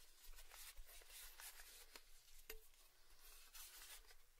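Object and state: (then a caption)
Metal tin lid. A small, round orange Baileys metal tin lid, held in both hands, is tapped with fingertips and nails. The result is a quiet run of soft, light taps and scratchy brushing with bright edges, and one clearer tap near the middle that gives a brief, short ring.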